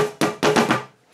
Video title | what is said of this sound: DIY Cajon Box Drum | when you tap on it you can hear these rattling against it